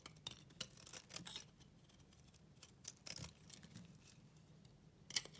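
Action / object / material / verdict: scrape / bar of soap / soap / none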